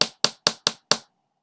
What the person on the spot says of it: that was me tapping on my table with my nail